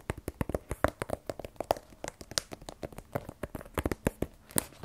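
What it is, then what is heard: Cardboard phone box. Fingernails tap rapidly on the face and top of a small black rigid cardboard iPhone 12 Pro box, hollow with the phone inside. About 22 quick, dry clicks with a hollow midrange knock come in an uneven rhythm, each dying away almost instantly.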